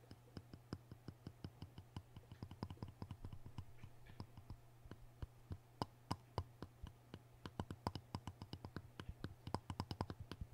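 Fingertips and nails tap and scratch the surface of a wet, solid, rectangular King sharpening stone lying on cardboard, with a closed orange folding knife resting untouched beside it. Dozens of quiet, short, dry taps with brief scratchy passes sound over a steady low hum.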